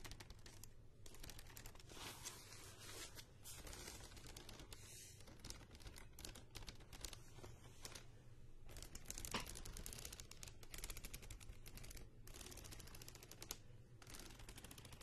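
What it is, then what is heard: Spiral paper notebook with cardboard cover. Long nails scratch and tap the cardboard cover, wire spiral and page edges of a handheld medium spiral paper notebook, possibly riffling the pages too. The result is a steady, quiet stream of dry, crinkly scratching and rapid tapping with bright papery hiss over a low background hum.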